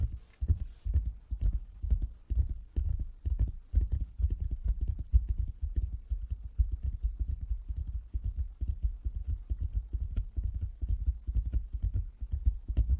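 Fingers tap on a wooden table in a quick, uneven run of dull, low thumps, about two per second across the clip. Each tap dies away almost at once with no ring and little brightness.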